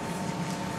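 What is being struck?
Nothing is struck.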